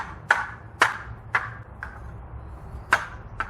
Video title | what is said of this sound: Butterfly Swords Comparison: Everything Wing Chun Flagship Lightweight vs Murasame Swords | it feels very solid no problems there